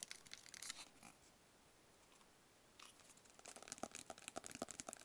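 A small, hollow, rigid black cardboard gift box, held in both hands, is scratched and tapped with fingertips and nails. Bright, crackly scratching fills the first second, then after a quiet gap a fast run of short, dry, hollow taps mixes with more scratching until the end.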